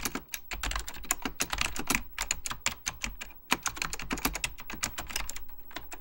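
Fingertips of both hands type steadily on a full-size beige plastic Apple Extended Keyboard II with mechanical key switches. A fast, uneven run of sharp, bright clicks, each with a short low thud, fills the clip, every keystroke cutting off almost instantly.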